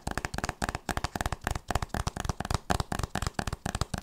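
A solid hardcover book with a printed board cover is held upright and tapped and scratched with long nails and fingertips. About eighteen quick, dry taps and scratches come in a rapid, uneven run, each with a low, hollow thump and a crisp, bright click. Each sound dies away almost instantly.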